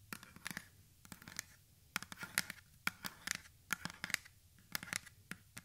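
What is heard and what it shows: Long manicured nails scratch and tap the sides of a medium blue plastic spray bottle with a white pump top, hollow and holding liquid, held close to the microphone. A quick, irregular run of sharp, bright clicks and dry scratches stands out over a soft background, with almost no low end. Each tap dies away almost instantly.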